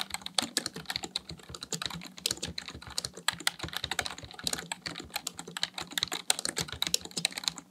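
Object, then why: Plastic computer keyboard. Fingertips type rapidly on the keys of a black plastic full-size computer keyboard resting on a desk. The result is a dense, fast run of short, bright, dry clicks with almost no ring, over a faint steady low hum.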